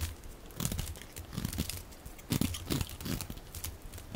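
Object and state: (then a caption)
Soap bar being shaved. A hand-sized solid bar of dry pink soap with a blue rim is held in one hand and shaved and scratched with a metal utility blade held in the other, peeling off curls and flakes. Repeated dry, crackling scrapes and crunchy tearing strokes come in uneven bursts, each with a dull low body and a bright, gritty rasp.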